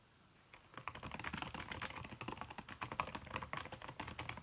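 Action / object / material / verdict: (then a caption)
tap / laptop keyboard with silicone keyboard cover / silicone / none. Fingertips with long red-painted nails type fast on a backlit aluminium laptop keyboard fitted with a red silicone skin over its plastic keys. After about half a second of quiet, a dense stream of quick, soft, muffled clicks and taps follows, each dying out at once, with brighter ticks mixed in.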